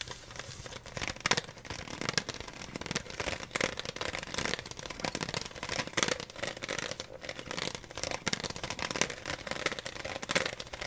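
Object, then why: Thin plastic water bottle with some water. A clear, thin plastic water bottle with a blue label, partly full of water, is held in both hands while fingertips tap its thin walls and squeeze them so they crinkle. Many quick, dry taps and sharp crackling crinkles run continuously through the clip, bright and mostly high-pitched with little low end.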